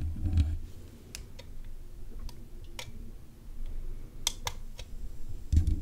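Long nails tap repeatedly on the metal mesh grille of a black USB condenser microphone. Sharp, bright clicks land at an uneven pace over a steady low rumble, and heavier muffled thumps sound at the start and the end.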